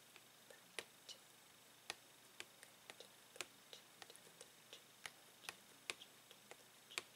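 Fingernails tap the plastic bubble of a blister package holding a Tangle toy with a card backing. About twenty quiet, sharp, bright ticks come at irregular intervals, each dying away almost instantly.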